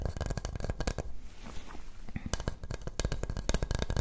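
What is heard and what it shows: A small, hollow glazed coconut shell bowl with a natural brown shell is held upside down in both hands and tapped and scratched with long nails, fingertips on its rounded outside. Quick, dry, muffled taps patter in dense bursts with a deep hollow body and almost no ring, easing into a softer scratching stretch in the middle before the tapping picks up again.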